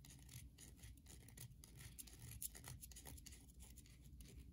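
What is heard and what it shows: Long nails scratch the surface of a solid carved white bar of soap held in the hand, leaving grooves. Quick, dry, bright scraping strokes come in a steady, uneven run over a soft low rumble.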